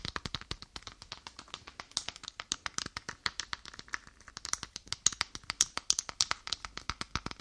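Long painted nails rub and scratch a small lilac-grey faux leather wallet with a clasp, held in one hand. Dozens of quick, dry, bright scratches and taps follow in a steady, rapid run, each dying away at once with almost no low end. Some strokes ring slightly sharper and higher near the end.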